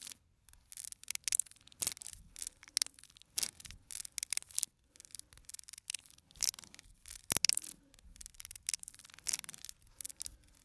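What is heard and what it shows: Fingernails scratch and tap the edges and faces of a small, full cardboard box of playing cards held in the hand. The result is a quiet stream of bright, dry scratches and crisp clicks with almost no low end, each sound stopping instantly with no ring.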